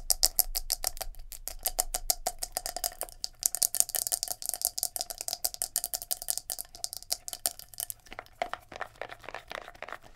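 Long nails rapidly tap and scratch a palm-sized black plastic scalp massager brush with silicone bristles as it is handled and turned over to show the bristle side. A fast, dense stream of sharp, bright clicks with very short decay runs throughout, thinning into sparser, scratchier taps near the end.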